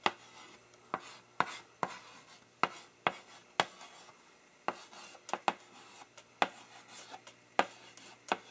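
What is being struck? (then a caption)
Chalk on a wood-framed blackboard. A gloved hand writes "more. I also take" in chalk on a wood-framed blackboard with quick strokes and dots. About sixteen sharp, dry taps and short scrapes of the chalk on the flat surface are heard, each dying away almost at once, with light rubbing in between.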